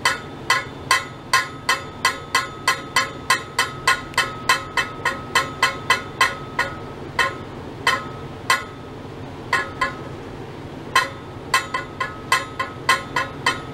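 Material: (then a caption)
Stainless steel. A long, hollow stainless steel pipe about 1 m long, held horizontally in mesh-wrapped clamps, is struck repeatedly by a thin metal rod laid across it. About 36 sharp metallic taps ring briefly with a bright, clinking tone centered near 1 kHz. They come in quick, uneven runs with short pauses between groups.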